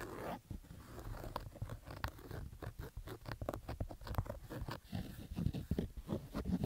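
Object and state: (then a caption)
Fabric baseball cap scratched. Fingertips scratch the stitched fabric crown of a black Adidas baseball cap resting on carpet. The result is a rapid series of rough, dry scratching and crunching bursts that are dull and low-heavy, with no ring after each stroke.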